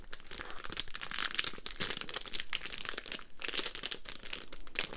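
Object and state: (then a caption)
Crinkly plastic sweets bag. A small, crinkly plastic Polo spearmint bag full of mints is held in both hands and squeezed, crinkled and scratched with long nails. A dense, continuous run of bright crackling and rustling fills the clip, with short, dry bursts that rise and fall in loudness and die away almost instantly.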